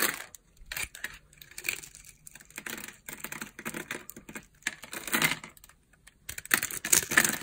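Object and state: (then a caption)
Dry bar soap, crunchy. A metal utility-knife blade scrapes and shaves the cross-hatched, scored surface of a solid rectangular yellow bar of dry soap held in the palm, and crumbly flakes fall off. Bursts of dry, bright crunching and scratching come in quick irregular runs separated by brief pauses, with almost nothing in the low end.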